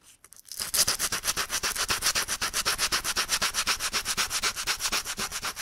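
Sandpaper is rubbed with the fingertips back and forth over one patch of a deflated black rubber bicycle inner tube held in a loop. After a faint start, a steady run of about 39 quick, bright, scratchy strokes follows at roughly four per second, each a short hissing rasp with no ring.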